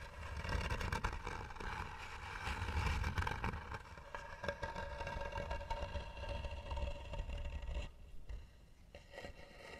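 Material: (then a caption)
Wood. Long nails scratch hard across the lid of a hollow, tan carved wooden box. The dense, rasping scrapes carry a deep, hollow low-end resonance from the box. The scratching is loudest in the first few seconds and grows quieter toward the end.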